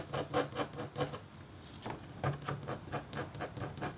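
The metal tip of a red stylus makes rapid, short scratch strokes across a flat, thin, solid scratch board of black-coated copper foil. The result is a quick, irregular patter of dry, raspy scrapes, each with a brief bright edge and almost no ring.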